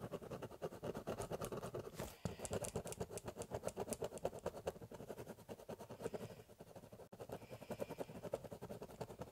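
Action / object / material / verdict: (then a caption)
scrape / corrugated cardboard box and ballpoint pen / cardboard / none. A ballpoint pen scratches rapidly back and forth on a large, empty, hollow corrugated cardboard box, cross-hatching. The sound is a dense, rhythmic run of short scratchy strokes with a hollow midrange body. There are brief breaks just after 2 seconds and around 7 seconds.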